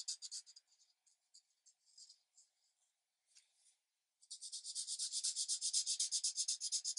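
A green alcohol marker held in the hand rubs its felt tip back and forth across a thin paper coloring book page lying flat on a light pad. Soft, bright, scratchy strokes come in scattered bursts with short gaps and a brief pause. The rubbing then settles into a quick, steady, louder back-and-forth rhythm until the end.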